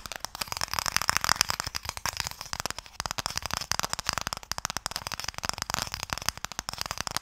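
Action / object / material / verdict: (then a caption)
tap / small wooden box / wood / none. A small, closed, pale wooden Mikado box, hollow and holding sticks, is held in the hands and tapped with fingertips and nails. Rapid, irregular bursts of short, dry, bright clicks patter on throughout, with very little low end and almost no ring after each tap.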